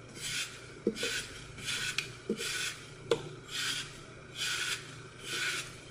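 A solid green floral foam block with a blue-purple glitter coat is held in the hand and carved along its edge with a utility knife. Repeated bright, crunchy rasping strokes are heard, broken by four sharp snaps as foam chips break off.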